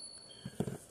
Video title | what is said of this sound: How to spot a fake Morgan?😁 | this one is kind of dead and dense